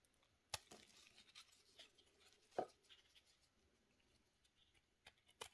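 A steel knife shaves the face of a solid pink soap cube held in a black-gloved hand, sending flakes falling. Quiet, dry scraping strokes come at uneven intervals, each with a brief bright, crackly edge and little low end, ending as soon as the blade stops.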